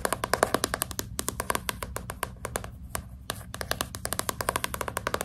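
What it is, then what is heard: Hardcover book tapped with fingernails. Fast, dense tapping with long nails on the front cover of a hardcover book with a glossy cardboard cover, held upright. The taps are short and crisp, dying away almost instantly, with a bright clicky edge and a hollow tone around 640 Hz. They arrive in quick irregular bursts with a few brief pauses, over a steady low background hum.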